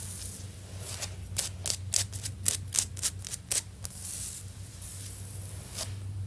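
Long nails on clawed fingers tap and scratch a solid, stone-pattern ceramic floor tile. About ten sharp, bright clicks with very short decay sit between stretches of hissy, high scratching. A steady low hum runs underneath throughout.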